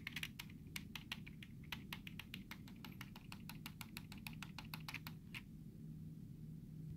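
Fingertips quickly tap the letter keys of a black plastic computer keyboard with hollow keys, making a rapid run of sharp, bright clicks. The tapping stops after about five and a half seconds, leaving a steady low hum to the end.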